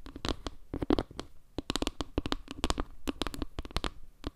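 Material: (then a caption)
Wood. Long nails tap quickly across the edge and center tiles of a solid, round wooden log-slice panel made of wood slices. The result is a rapid, uneven run of short, dry clicks and knocks with a low woody thump under each one. Every tap dies almost instantly, with no ring.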